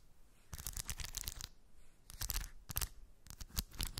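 Long white nails scratch and rake through small shiny steel ball bearings in a shallow round cork dish. It makes dense bursts of bright, rattling clicks in three clusters separated by brief quieter gaps, with a low thump under the busiest moments.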